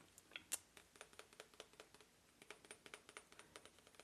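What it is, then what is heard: Selenite crystal point. Light tapping on a selenite crystal point, received as a birthday gift and regarded as a cleansing crystal. About 25 quiet, bright clicks come in an uneven patter, each dying away almost instantly, with one sharper tap near the start.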